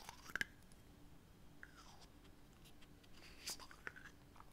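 Fingertips and nails scratch and tap the black plastic cap of a small glass foundation bottle, partly full of beige liquid, held in one hand. Sharp, bright clicks and soft scratching sounds come in scattered bursts over a quiet, low background hiss. Each tap dies away almost instantly.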